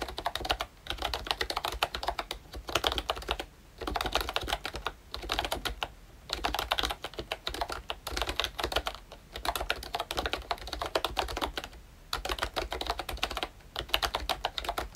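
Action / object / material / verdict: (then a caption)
tap / plastic membrane keyboard / plastic / none. Fingertips type continuously on a pink and brown plastic ROYCHE Disney Mickey Mouse retro membrane keyboard. Dense, soft, bright key clacks come in bursts separated by brief pauses.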